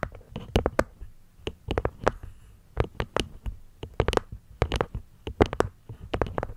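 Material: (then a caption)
Wood, cork. Long nails tap and scratch on a small, hollow, hexagonal light-wood box, striking both its cork top panel and its wooden rim. Irregular bursts of short, dry taps give soft, muffled low thuds with crisp bright clicks and almost no ring. Faint scratching fills the quiet gaps between the taps.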